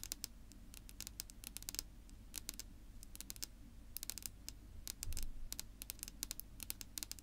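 Long natural nails on both hands tap and scratch a flat, solid dark wood-grain tabletop, making quick, dry, bright clicks in rapid irregular bursts. Softer scratching and a steady low rumble run underneath, with a brief louder scratchy swell around the five-second mark. Each tap stops almost at once with no ring.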